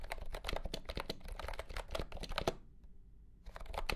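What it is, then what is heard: Plastic keyboard being typed on. A compact pastel green plastic keyboard with round keycaps and a hollow body, under green light, is typed on with fingertips. Rapid, dry clicking keystrokes blend into a steady patter for about two and a half seconds, then go quiet for roughly a second before the typing resumes.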